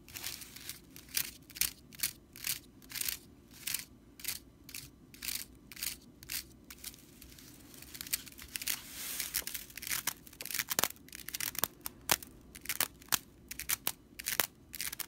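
A stitched straw whisk broom lies on its side while long nails scratch its bristles near the stitching. The result is a run of dry, bright, crackly rattles in short bursts, sparse at first, then denser and faster, over a faint low steady hum.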